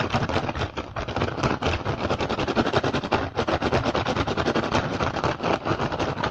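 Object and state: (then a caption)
Woven rattan basket. Short fingernails and fingertips of both hands rapidly tap and scratch the weave of an empty, upturned woven rattan/straw basket with green and red dyed strips, its hollow dome shape facing up. A dense, steady stream of quick, dry, crackling taps and scrapes carries through, bright and papery with a light hollow body underneath.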